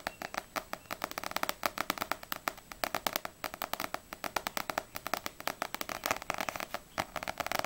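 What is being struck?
Paperback book with glossy paper cover.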